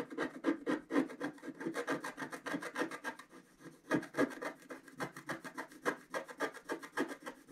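A wooden stylus rubs and scratches densely over the flowers on a flat black-coated scratch art card in continuous strokes. It makes a soft, dry rasping scrape that repeats in quick, uneven strokes, roughly three to four per second, with a low body and brief bright edges. Each stroke stops almost at once with no ring.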